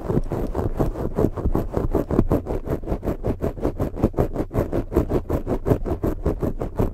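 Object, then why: Foam microphone windscreen. Long fake nails scratch quickly across a black foam microphone windscreen, making a steady run of rapid, dry rustling strokes. The scratching is mostly low and muffled, with faint high hiss at the edge of each stroke and no ring after it.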